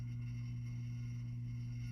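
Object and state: Nothing is struck.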